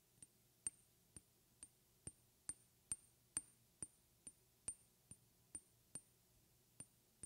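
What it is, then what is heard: Glass perfume bottle. Long red-painted fingernails tap a small, clear glass perfume bottle with a white plastic cap, hollow and partly filled with liquid. There are 16 quiet, sharp clinks at an uneven pace, each with a bright, high glassy ping that dies away almost at once. A faint low hum sits underneath.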